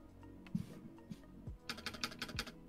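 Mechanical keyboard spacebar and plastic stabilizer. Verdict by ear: Loose.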